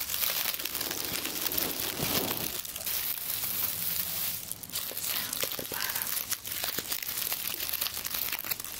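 Fingers grasp, rustle and crinkle a large hand-held bundle of dried, round-leaf eucalyptus stems, light and brittle, held close to the microphone. A continuous, dense, bright crackling and crinkling runs throughout, with a brief dip in the middle before the rustling resumes.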